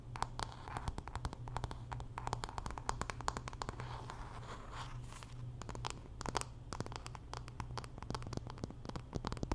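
Long nails scratch and tap the solid wooden back and handle of a hand-sized wooden paddle hairbrush with pin bristles. Quick, dry, crackly clicks rise out of a soft scratching texture over a steady low hum. The taps come in uneven bursts and die away almost instantly.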